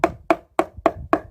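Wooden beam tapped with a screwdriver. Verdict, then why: Hollow. Five taps of a screwdriver on one spot of a wooden beam give a short, hollow, woody knock with a resonant ring around 660 Hz. The hollow sound marks rotten wood inside the beam, confirmed when the spot is cut open and the rot is removed.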